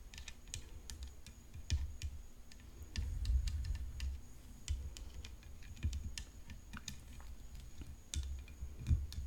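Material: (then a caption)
Composite. Long nails tap rapidly along the hollow composite frame of a rhinestone-decorated tennis racket resting on black cloth. The taps are short, bright and clicky, like typing, and each dies away almost instantly over a steady low rumble.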